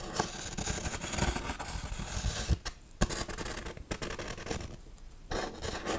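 Long nails scratch and tap the textured, raised RIP lettering and cross on a large foam Halloween tombstone prop. The sound is dense, dry rasping with soft low thumps and a few sharper taps. It eases briefly near the end before the scratching picks up again.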